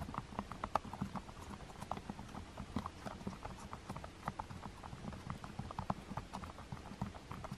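Long-nailed fingertips press and tap the number keys on a black plastic TV remote with white rubber keypad buttons. Many soft, quick clicks and taps come in an uneven patter, each muffled and short with a mid-pitched knock and almost no ring.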